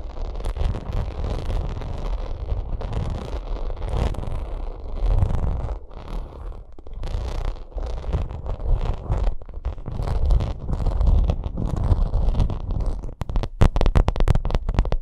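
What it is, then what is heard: Textured vinyl makeup bag. Long acrylic nails scratch a hollow, soft white faux-leather vinyl cosmetic bag with a raised pyramid pattern. The result is a steady, dense, low rumbling scrape with a brief dip near the end, then a run of sharper, quicker scratches in the last two seconds.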